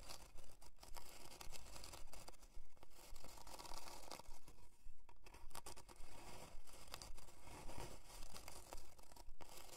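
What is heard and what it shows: Long dark nails scratch along the grain of a thin, flat, light plywood heart-shaped board with a twine hanger, lying on faux fur. The result is a steady, rhythmic series of quiet, dry, raspy scratching strokes, each swelling and fading in quick succession.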